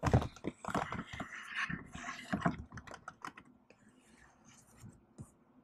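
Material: Plastic.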